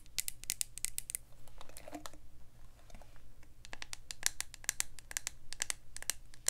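A hand-sized black plastic paddle hairbrush with a hollow body is held near the mic while long acrylic nails scratch and tap its smooth plastic back. Sharp, bright clicky taps come in quick bursts, with a softer, scratchy stretch in the middle, over a steady low background hum. Each tap dies away almost instantly with no ring.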